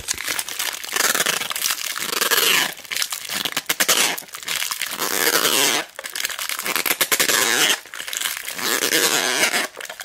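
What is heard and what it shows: Long black nails press, squeeze and scratch the clear cellophane wrapping on a large roll of mounting tape held flat. Bright, crackling crinkles come in sustained bursts separated by brief quieter pauses, with almost no low end.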